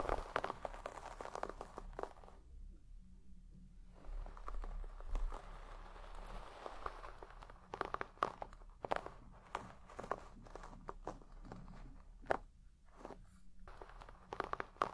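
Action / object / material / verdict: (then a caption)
scrape / shaggy textile carpet brushed with a wooden-pin hairbrush / textile / none. A wooden-pin hairbrush is brushed rapidly through the pile of a large red shaggy textile carpet. It makes a run of dry, scratchy, crunching strokes with quiet gaps between them and a low rumble underneath.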